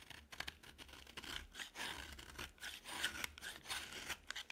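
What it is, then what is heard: Dry bar of soap being scraped. A metal utility knife blade carves and scrapes a dry, solid green bar of soap. The result is a run of short, crisp, dry scraping and crunching strokes, bright and high with little low end and almost no ring.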